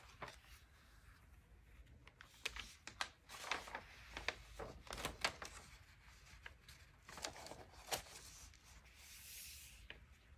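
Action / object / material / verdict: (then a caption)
scrape / thin paper magazine pages / paper / none. Fingertips turn and rub the aged pages of a thin 1947 vintage paper magazine booklet, so the pages rustle and crinkle as they bend. Quiet, bright crackles and sharp paper snaps come in irregular bursts over a soft, airy hiss.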